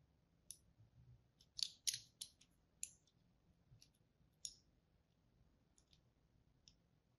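A pink-and-white striped solid soap bar is held in the hand while a small pointed tool and thin thread score and cut into its dry surface. Six crisp, bright scraping snaps stand out among fainter ticks, each very short with almost no ring. The cuts come at an uneven pace over a quiet, low background.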